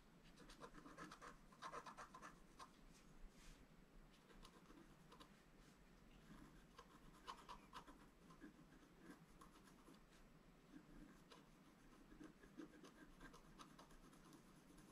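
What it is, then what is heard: Scratch-art paper card. A wooden stylus scratches details into a thin, solid, flat black-coated scratch-art paper card lying on a table. The result is a steady run of quiet, dry scratching strokes with a faint rasp, each a short rustle with a slight brightness around 1 kHz and no ringing after.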